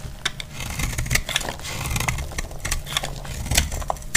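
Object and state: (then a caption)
Dry bar soap being shaved. A solid, dry white bar of soap, held in the hand, is shaved into flakes with a utility-knife blade over a grey cloth. Quick, crisp scraping strokes produce bright crackles and sharp clicks over a steady low rumble, and the flakes break off with short dry snaps.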